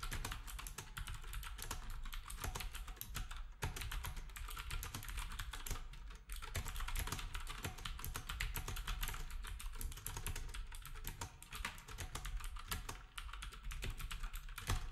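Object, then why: Compact keyboard with round plastic keycaps. Fingertips type rapidly on a black compact plastic typewriter-style keyboard with round plastic keycaps, while the other devices sit untouched. A steady stream of dense, crisp clicks continues throughout, with bright key taps over a strong low thump and very short decay.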